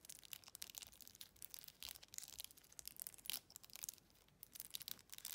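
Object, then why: Glass jar with metal lid. Long red acrylic nails tap and scratch quickly across an empty, hollow, hand-sized glass jar with a faceted textured body and a silver metal lid band. The result is a quiet, dense stream of bright, dry clicks and scraping rasps with almost no low end or ring, briefly settling into a soft scratchy lull before the quick tapping resumes.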